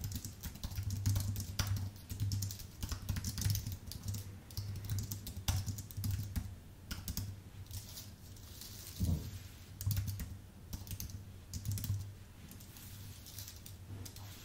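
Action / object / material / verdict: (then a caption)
tap / plastic-keyed keyboard on an aluminium base / plastic, aluminium / none. A white, full-size Apple Magic Keyboard with plastic keycaps on an aluminium base is typed on with fingertips. It gives steady bursts of soft, light clicks over a low hum. There are brief pauses and a louder thud near the middle.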